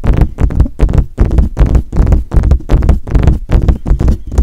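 Fingertips tap quickly and unevenly on the hollow metal body and mesh grille of a silver metal desktop USB condenser microphone. The taps come as a run of deep, dull thumps with almost no high end, and each one dies away almost at once.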